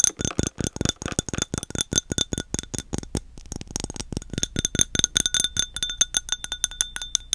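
A glass object is tapped in a quick, steady series of dozens of light taps. Each tap gives a bright, high-pitched clink with faint ringing tones, and the taps stop short with almost no decay between them.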